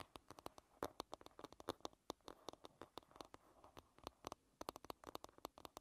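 Long red-painted nails tap and scratch the varnished surface of the small, solid, oval wooden back of a bristle hairbrush. About 35 quick, dry, close taps land in an uneven run, each dying away almost at once, with soft scratchy rasps between them.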